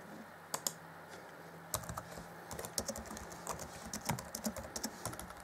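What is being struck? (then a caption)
Plastic laptop keyboard keys. Fingertips type on the black plastic chiclet keys of an Acer Chromebook C20 (2014) laptop keyboard. Light, bright, short plastic clicks come first as a few scattered taps, then as a quicker run of about two dozen keystrokes. A faint steady hum sits underneath.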